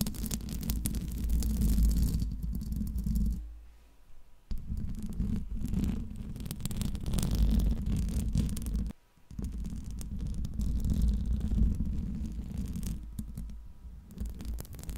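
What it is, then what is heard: Metal microphone grille being scratched and tapped. Long nails on both hands scratch and tap the hollow metal mesh grille of a Blue Yeti microphone. The result is a dense, low, rumbling scrape with rapid, uneven taps, dominated by deep boomy tones. Two short pauses drop it nearly to silence before the scratching resumes.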